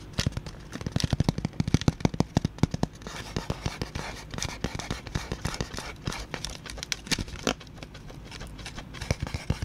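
Fingertips tap and drum on a flat, folded tan cardboard cutout in the Labo style, with punched holes and a teal tab, held empty and hollow in front of a microphone. Rapid, dry, hollow knocks with a low, thumpy body come in dense flurries, loudest in the first three seconds. They continue as softer, uneven drumming with light scratchy rustle between the hits.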